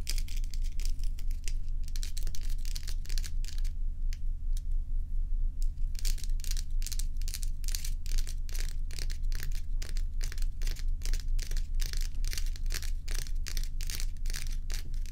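Long fingernails on both hands scratch and tap the frosted surface of a large, bowl-shaped solid ice block resting on a towel. The result is a rapid, irregular run of crisp, bright scraping and clicking strokes over a steady low hum, with a brief sparser stretch in the middle before the dense scratching resumes.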